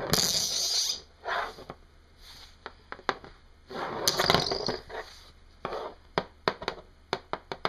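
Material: Hematite.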